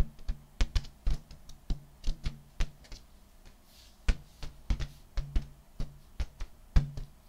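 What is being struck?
Inflated latex balloon.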